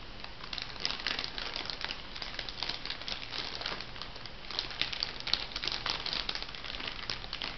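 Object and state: Crinkly plastic packet.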